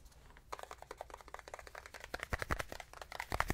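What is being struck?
Small stretched canvas panel.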